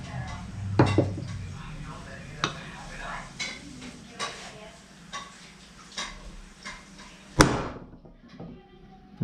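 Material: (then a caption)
Steel. A steel output shaft bearing, just hammered into a KX65 engine case, is tapped to check its fit, producing a series of short, sharp metallic knocks with little ring against a low background hum. The bearing sounds solid and properly seated, so it is left in place.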